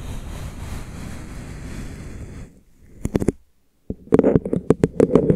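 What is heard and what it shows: Fingertips trace and tap a tall, hollow, frosted translucent plastic drinking bottle with printed time markings, held in front of the face. A soft, steady brushing rustle from the tracing fades to near silence, then a short cluster of quick taps sounds. After a brief pause, a longer run of dull, hollow plastic taps follows, each with a low-mid tone and almost no ring.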